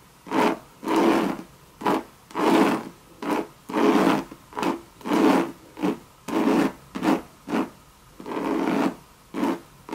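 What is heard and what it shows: Long red nails rub and scratch along the sides of a Louis Vuitton monogram coated canvas bucket bag with leather trim. The result is a steady series of short, dry scraping strokes alternating with longer rubbing passes, each a soft broadband rasp centred in the low mids with a bright edge. Fourteen separate strokes are heard, with short quiet pauses between them.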